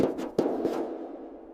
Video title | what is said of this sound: INVESTIGATING Toy Story 5 ABANDONED TOY FACTORY! | That sounds hollow inside.